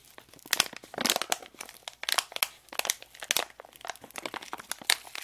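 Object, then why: Foil-plastic candy packet. A small sealed foil-plastic packet of Dip Loko popping candy is held up close and crinkled and squeezed between fingertips with long acrylic nails. Bright, dry crackling bursts come in quick irregular clusters with almost no low end and no ring.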